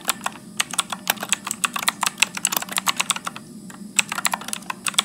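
Fingertips type continuously at a medium pace on a backlit Motospeed plastic mechanical keyboard with blue switches and plastic keycaps. About 25 sharp, bright clicky keystrokes snap out and stop almost instantly, with a faint steady low hum underneath.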